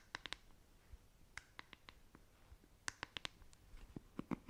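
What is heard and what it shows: Long nails scratch the plastic bristle cushion of a hand-sized black plastic paddle hairbrush with a silver-tipped handle and tap its smooth, hollow back. The result is a quiet, uneven string of sharp, dry clicks and brief bright scratches, with a few softer, duller taps, each dying away almost at once.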